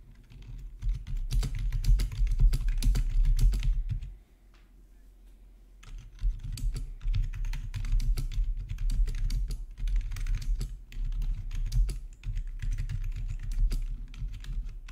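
Fingertips type on a full-size black plastic RGB backlit gaming keyboard with a hollow housing, resting on a marble surface. Rapid, uneven keystrokes make dense, short clacks with a deep, hollow low thud under each press. The typing pauses briefly around the four-second mark, then resumes steadily to the end.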